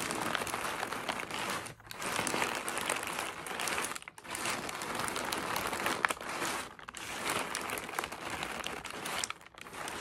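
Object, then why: Tissue paper packing in a cardboard box. Fingertips with short nails press, rub and crinkle loose, crumpled white tissue paper packing that fills an open cardboard box, without striking the box sides. The result is a dense, bright, continuous crinkling with almost no low end, broken by brief quiet gaps at about 1.8, 4.1, 6.8 and 9.4 seconds.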